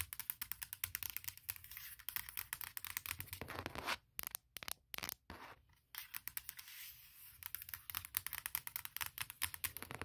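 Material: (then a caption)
Aluminum. Long nails tap rapidly on the aluminum lid of a closed MacBook Pro, producing dozens of sharp, bright clicks with almost no ring. Around the middle, the tapping breaks into a few short scratchy bursts separated by silences, then the fast tapping resumes.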